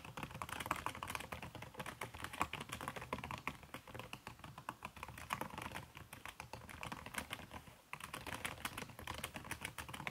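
Fingertips with long red-painted nails type fast on a backlit aluminium laptop keyboard whose plastic keys are covered by a red silicone skin. The result is a dense, steady patter of soft, muffled key taps with bright clicky edges, centred around 1.1 kHz, with a brief pause near the 8-second mark before the typing resumes.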